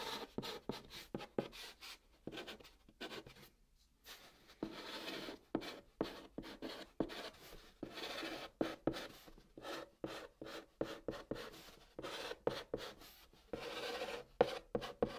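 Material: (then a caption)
Cardboard. A hand writes on the surface of a brown cardboard box with a white chalk stick, making continuous scratching strokes. Quiet, dry, rasping scrapes come in rapid bursts with little ring, broken by a short pause near the four-second mark.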